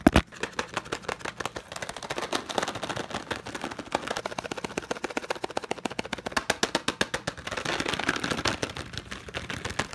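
Fingertips tap and rub the faces of a small, hollow, light cardboard packaging box printed in green and yellow. Dozens of quick, dry taps come in a fast, steady patter with very short decay. A brighter rubbing hiss swells near the end.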